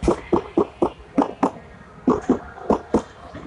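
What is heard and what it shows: Knuckle knocks on a section of a VW Tiguan's steel body panel that has no sound-deadening installed yet. Ten hollow, rattly knocks come in uneven groups. Each one rings briefly with a resonant midrange tone, showing the undamped panel still vibrates.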